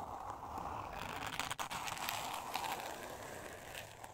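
Long nails scratch across a thin, solid, flat pink board covered in glitter-textured paper. They make a continuous gritty, crackling scrape with a bright hiss, and the sound briefly drops out partway through before the steady scratching resumes.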